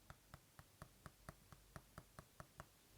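Twelve taps on the glass display of an iPad Pro, whose screen is laminated with no air gap. Each tap is a short, dull knock with quick decay and a low body around 140 Hz, sounding solid rather than hollow.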